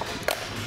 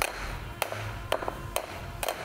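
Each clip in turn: First: crankshaft damper pulley, intact (dull sound). Second: worn crankshaft damper pulley, separated rubber.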